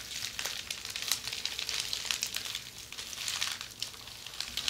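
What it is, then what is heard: Plastic bubble wrap. A rolled bundle of red plastic bubble wrap is turned and squeezed in the hands while long red nails scratch and crinkle it. The result is a steady, bright, sizzling crackle full of quick sharp ticks and pops, with almost no low end.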